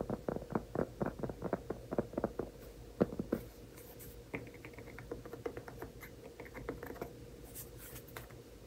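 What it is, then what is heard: Round cork trivet. Fingertips tap and scratch a large, flat, solid round cork trivet held in both hands. A quick run of dull, soft taps gives way to lighter, faster scratchy pattering, with each sound stopping almost instantly and no ring.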